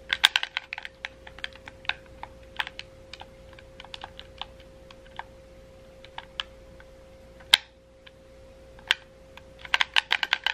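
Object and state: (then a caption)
Plastic game controller buttons. Fingertips tap and click the face buttons and triggers of a hollow red wired plastic gamepad held in both hands. Quick, sharp, bright plastic clicks come in irregular bursts with short pauses, louder snaps near the middle and a dense flurry at the end, all over a faint steady hum.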